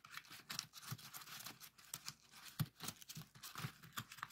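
A heart-shaped origami pop-it folded from colored paper rests on a table while the fingertips of both hands push and pop its hollow folded paper cells. The result is a quiet, rapid, uneven series of short crinkly paper pops, each with a soft low thud under a bright, papery crackle that dies away almost at once.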